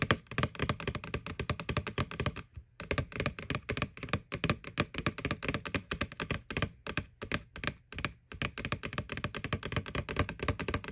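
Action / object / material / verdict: tap / hollow plastic candy bucket / plastic / none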